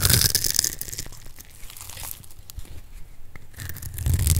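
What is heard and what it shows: A metal blade cuts a solid purple bar of dry soap, held in the palm and scored in a grid, into small cubes. Dense, crisp crunching and crackling sounds bright and loud at the start and end, with a quieter middle of softer scraping broken by sharp little clicks.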